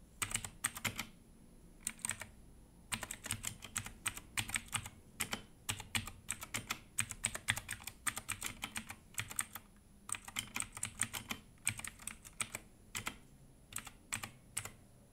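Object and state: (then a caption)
Plastic mechanical keyboard being typed on. Gloved fingertips type on a compact Redragon mechanical keyboard with plastic keycaps and an orange spacebar, producing bursts of bright, sharp plastic clacks separated by short pauses. Each keystroke is short and dry over a faint, steady low background.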